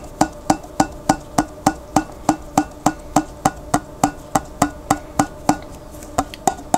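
A large clear glass pickle jar with a white plastic lid, partly filled with water, is held sideways while fingertips rub, scratch and tap the plastic lid. About 24 short, dry, wood-block-like knocks come in a steady run, each with a hollow tone near 305 Hz and a brief bright click that dies away almost at once.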